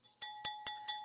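Five bright taps on the bubbled blown-glass lid and bowl of a vintage lidded dish with a lion finial give five sharp, high clinks with a sustained ringing tone underneath. The ringing shows the dish is crystal rather than ordinary glass.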